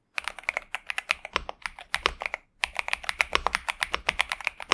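Both hands type continuously with their fingertips on a pink and purple 65% Xinmeng M71 mechanical keyboard with TTC Superman switches and plastic keycaps, resting on a desk mat. About 34 quick, bright clacks with almost no low end and no ring follow one another, with a short pause just before the midpoint.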